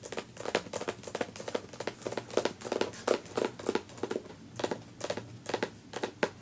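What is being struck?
Hardcover book with paper dust jacket.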